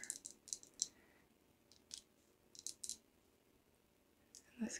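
The glass top of a favourite perfume bottle is tapped, producing a series of quiet, sharp, high-pitched clicks in irregular clusters. Each click is bright and dies away almost instantly, with near-silence between groups.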